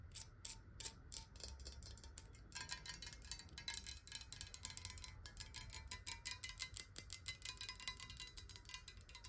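Long nails tap rapidly on a clear, square-sided glass water bottle that is hollow and partly filled with water, tilted so the water moves inside. The dense stream of quick, bright clicks has almost no ring, heard over a soft low rumble, and the tapping grows a little louder and busier partway through.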